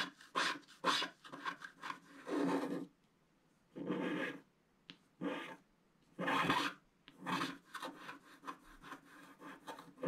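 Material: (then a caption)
Waxed paper. A wooden stylus scratches across a flat, black, wax-coated scratch-art sheet, piling up flakes of the coating. Dry, raspy strokes come in quick short bursts and longer drawn-out scrapes, with a bright, broadband texture, separated by near-silent pauses.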